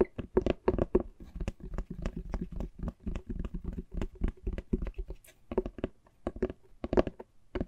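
An antique hardcover book, large, flat and solid with a printed, embossed cover, is held in both hands and tapped on the cover with fingertips and nails. A long run of quick, uneven taps follows, each a short dry knock with a soft low thump and a hollow mid-range body that dies away almost at once.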